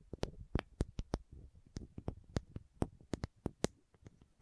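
Long nails tap and scratch a small, hollow green and white plastic contact lens case held near the microphone. A quick series of sharp, dry clicks rises over soft, low scraping between them, with each tap ending almost at once.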